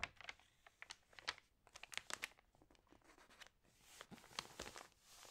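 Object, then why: Glossy paper magazine pages. Long nails scratch across the pages of an open glossy paper magazine and fingers turn them, making quiet, bright crinkling and crisp scratching sounds. Short sharp ticks and rustles come in uneven bursts, with a soft, airy hiss of paper sliding near the end.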